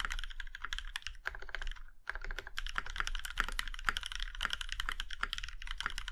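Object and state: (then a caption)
Mechanical keyboard in a metal case. Fingertips of both hands type rapidly on an Iron165 compact mechanical keyboard with a plum-red aluminum case and black keycaps. A dense stream of short, crisp key clacks with a bright top fills the clip, broken by a brief pause near the two-second mark before the typing resumes.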